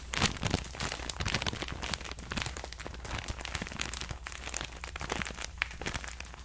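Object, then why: Thin plastic bag holding cotton pads. A clear plastic bag full of cotton rounds is crinkled with the fingers. Dense, bright crackling and rustling rises and falls steadily over a low, constant hum.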